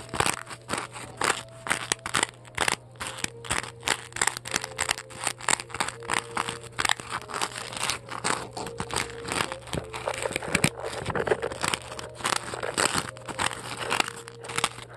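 Long acrylic nails scratch and crunch into the surface of a large, solid white polystyrene foam ball. The result is a rapid, continuous run of crisp, bright crunches and crackles, threaded with short squeaky tones and a faint steady low hum underneath.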